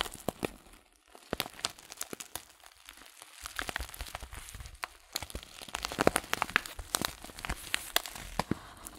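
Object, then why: Paper loose-leaf tea packet. Fingers handle the crinkled, folded top of a paper loose-leaf tea packet, giving a dense run of dry crinkles and sharp, bright crackles. The crackling is quieter at first and grows busier and louder over the last few seconds.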